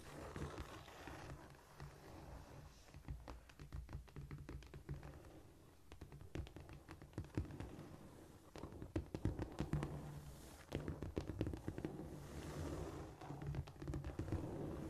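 Long nails tap and scratch with both hands across a flat, solid cork floor, giving quick, dry taps and scurrying scratches over a low, dull thump. The taps come in busy clusters, with softer stretches of scraping between them, and each one dies away almost instantly.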